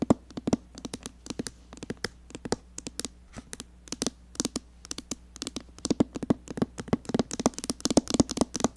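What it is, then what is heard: Palette mirror glass. Long painted nails tap rapidly on a rectangular glass mirror set in the open lid of a red cardboard eyeshadow palette. The taps are short, sharp clicks with a bright edge and almost no ring, over a faint steady low hum. They come in quick irregular bursts that grow louder and denser toward the end.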